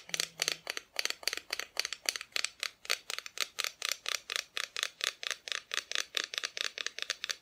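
A small wooden Christmas decoration showing Mr. and Mrs. Claus and their tree is tapped 34 times in a quick, steady rhythm. Each tap is a short, dry, bright click with almost no low end and very little ring, leaving a crisp, high-pitched ticking pattern.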